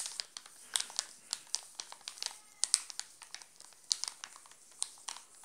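Fingertips scratch and crinkle the glossy plastic wrapper of a full, sealed Alpino chocolate bar. Quiet, dry crackles and sharp little snaps come in quick irregular bursts, each dying away almost instantly. The sound is bright and thin, with almost no low end.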